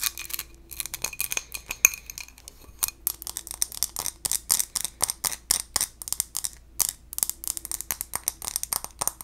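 A small textured glass bowl is scratched and tapped in a rapid, uneven series of bright, high clinks and scratches. Each tap is short and dies away almost at once, with the sound sitting mostly in the high treble and almost no low end.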